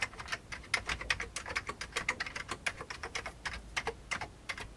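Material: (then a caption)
Plastic. Both hands type fast with their fingertips on an old beige plastic computer keyboard. A rapid, uneven stream of short, dry, bright clicks and clacks follows, each keystroke snapping off almost instantly with little low end.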